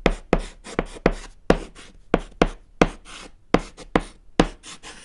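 A thick white chalk stick scratches across a small, solid, flat black chalkboard panel while writing Japanese text. It makes a series of short, sharp, dry strokes with a gritty, bright scraping texture and a low tap at the start of each mark, separated by brief pauses.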